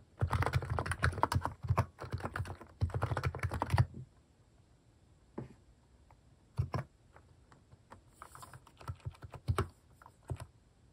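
Fast fingertip typing on a plastic mechanical keyboard with cat keycaps. A dense burst of low, clacky keystrokes runs for about four seconds, then gives way to scattered, slower taps with short pauses between them.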